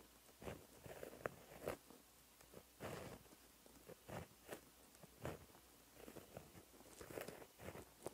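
A gold gel pen with a white barrel and metal ballpoint tip is drawn across a flat, lined black notebook page lying on a surface, writing gold Korean handwriting. Quiet, light scratching comes in short strokes and bursts of varying length, each fading almost instantly, with a soft papery grain and faint bright edges.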